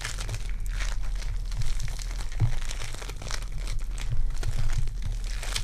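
Purple foam-bead clay is squished and rolled between fingertips with long dark nails. A dense, continuous run of tiny crinkling, crunching bead pops and sticky squelches plays over a steady low rumble, swelling and easing as the clay is pressed.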